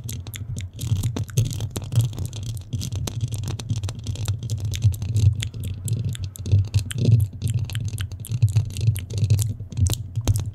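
Long nails of both hands scratch quickly over a black metal mesh microphone head, producing a dense, continuous rasp of rapid scratchy ticks. A heavy, booming low rumble dominates underneath, with thin, bright clicks flickering above it throughout.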